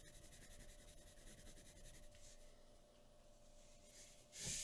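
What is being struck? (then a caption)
Pencil on a paper drawing sheet. A pencil makes scratching and rubbing strokes on a flat white paper drawing sheet resting on a wooden table. Soft, bright, papery scratching runs steadily over a faint low hum, then a louder, fuller rub swells up near the end.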